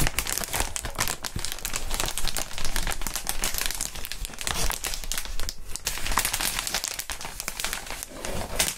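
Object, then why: Inflated plastic air column wrap. A clear inflated plastic air column cushion wrap sheet is held up in gloved hands and crinkled, producing a steady stream of dense, bright crinkling and crackling for the full clip. A low rumble sits underneath, and the texture shifts in fuller bursts as the plastic is squeezed and rubbed.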